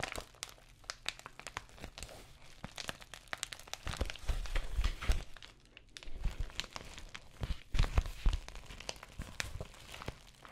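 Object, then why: Plastic padded bubble mailer. Long nails scratch and tap the textured plastic surface of an empty white padded bubble mailer envelope. Dense, irregular crinkling and crackling taps fill the clip, with louder bursts of rustling and soft low thumps around the middle and near the end.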